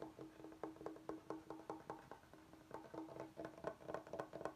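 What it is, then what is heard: Bamboo cutting board. Fingernails tap and scratch the edges and face of a large solid bamboo cutting board with a groove. Quick, dry, woody taps with a hollow tone ring out briefly over soft scratching, coming in an uneven, quiet rhythm.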